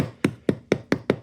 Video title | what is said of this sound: NJ Home Inspector Explains How Long a Home Inspection Should Take & Pre-listing Inspections | when you sound the wood and it sounds Hollow like that it's likely to be a problem of course either termites or wood rot